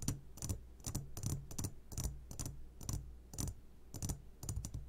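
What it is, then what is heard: Glass candy jar. A medium glass jar, turned upside down and full of sugared gummy candies, is tapped on its sides with short fingertips of both hands. The result is quick, bright clicky taps in loose clusters over a low, steady hum.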